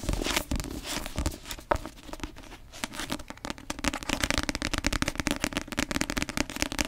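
Long acrylic nails tap rapidly on the glossy paper cover of a paperback novel held in both hands, a solid block of paper. The taps come as a fast stream of short, dry clicks with a bright edge and a slight hollow body, growing denser and louder in the second half.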